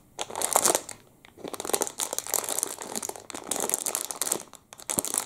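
A clear plastic wrapper around a full chocolate muffin is crinkled and pulled with the fingertips. Dense, bright crinkling crackles come in bursts, separated by brief quiet pauses.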